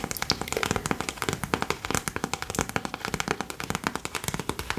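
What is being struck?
Sealed plastic snack packet.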